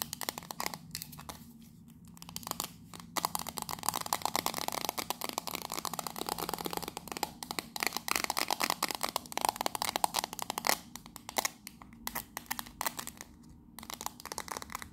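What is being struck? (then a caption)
Small metal tea tin. A small, hollow, decorated 'Victoria Grey' metal tea tin with gold rims, held in both hands, is tapped and scratched with long nails. The result is a fast, dense stream of bright, dry clicks and scratchy rasps that stop almost instantly, with brief quieter pauses between bursts.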